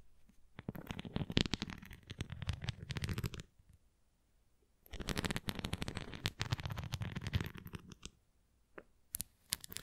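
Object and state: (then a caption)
Plastic flying ring toy, nail scratching. Long nails scratch over the nubs and rim of a large, flat, red translucent plastic flying ring toy with a nubbed center cross and open frame. Dense bursts of dry scratching and clicking run for about three seconds, pause briefly, return for about three more, then end in a few scattered ticks.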